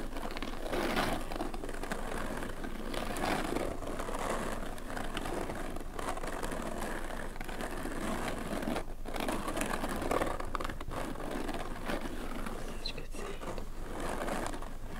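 Long nails of both hands scratch and rub a stiff, dark grey waxed oilcloth cover stretched over a hollow shako resting on a table. The result is a steady, dense crinkling and scraping texture with faint low rumble and no clearly separated strikes.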